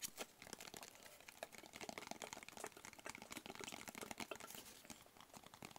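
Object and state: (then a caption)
Cardboard box tapped and scratched. Fingertips and nails tap and scratch a hollow, black rigid cardboard box with a textured paper surface. The result is a quiet, steady stream of quick, crisp taps and dry scratchy crinkling, bright and short with almost no low end.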